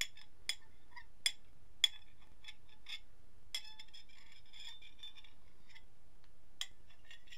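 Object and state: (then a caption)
Ceramic plate scraped with a fork. A metal fork is scratched and scraped across the surface of a medium, solid, empty white ceramic dinner plate held tilted on a lap. Six sharp, bright clinks with a ringing tone near 3.4 kHz stand out between softer scraping and faint ticks. Each clink dies away almost instantly over a quiet, low background rumble.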